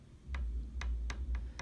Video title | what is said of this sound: 1898 Berliner (London) 2125 "Le Fu Rire" Maurice Farkor | it doesn't have the hard glassy sound of a shellac disc